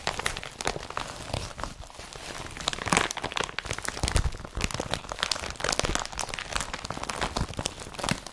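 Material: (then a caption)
Polypropylene. An empty blue IKEA BRATTBY carrier bag of woven polypropylene, strap included, is rubbed and tapped with fingertips over its strap and body. The result is a steady run of dense, dry crinkling and crunching with many short, sharp taps that spread from low thuds up into bright rustle.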